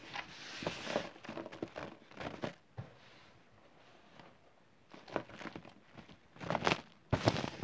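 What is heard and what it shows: A bare hand grabs handfuls of loose green chalk and cornstarch powder beside a pressed block, squeezing them and sifting them back onto the pile. Soft, crunchy crinkling bursts come in clusters, with a quiet stretch in the middle before the squeezing picks up again and grows louder toward the end.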